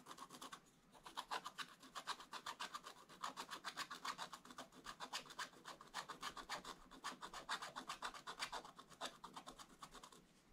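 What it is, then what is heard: Scratch-art paper being scratched. A wooden stylus held in the right hand scratches the black wax coating off a scratch-art paper page in a Paw Patrol book lying flat on a table, revealing colour underneath. Quick, uneven strokes make a dry, bright rasping that repeats several times a second, centred around 1 kHz with hiss reaching high up. The scratching is steady with only brief pauses, and each stroke cuts off sharply with no ring.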